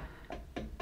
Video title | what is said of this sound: Boiler Basics: Part III - External Components | I have a hollow sound here I have a water sound here